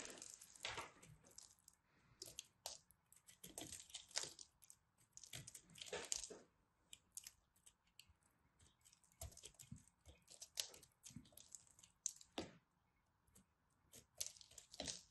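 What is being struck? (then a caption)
Pressed soap ball cut with a craft knife. A craft knife scrapes and cuts a solid pressed soap ball, now smaller after carving, as the soft crumbly soap is held in the hands. Many short, dry, bright scraping and crunching strokes come in uneven bursts, with quiet pauses in between.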